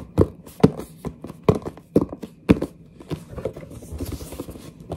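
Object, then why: Cardboard box. Long nails grip and scratch a large, hollow, printed cardboard headset box held up, tapping and rubbing across its surface and edges. Five distinct hollow, low-pitched knocks come in the first half, followed by a quieter, steady run of dull scratching and rustling over the cardboard.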